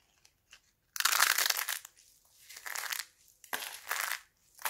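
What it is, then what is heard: Dried soap plates being crushed. Thin, brittle red and green sheets of dried laundry soap are crushed in the hands, with fingers pressing into a pile of soap flakes. Several bursts of dry, bright crunching and crackling come in waves after a couple of faint ticks, each burst hissing high and fading quickly.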